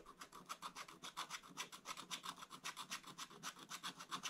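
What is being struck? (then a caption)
Wooden stylus on coated scratch-art paper. A wooden stylus scratches near the top of a black coated scratch-art paper page in an open book. About two dozen quick, uneven back-and-forth strokes make a bright, dry rasping with almost no low end, each one cutting off sharply.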